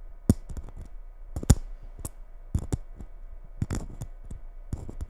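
Long red nails tap and scratch the rough glitter coating of a small gold Christmas bauble held in both hands. The result is a series of short, dry, clicking taps at an unhurried, uneven pace, with soft scratchy rustling in between.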